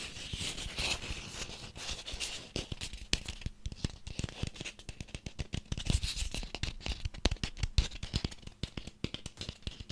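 A small ribbed orange pumpkin with its stem, held in the hands, is scratched along its ribs with fingernails and tapped with fingertips. The result is a dense, steady stream of quick, dry taps with low thumps, layered with a bright, raspy scratching texture.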